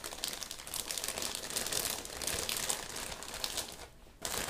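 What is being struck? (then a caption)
Thin plastic zip bag holding rubber gloves. A medium-sized clear, thin plastic zip bag holding pink rubber gloves lies on dark fabric and is rubbed and pressed with fingertips and palms, then smoothed flat. It gives a dense, steady, bright crinkling and rustling with little low end, dips quiet for a moment near the end, then returns at full level.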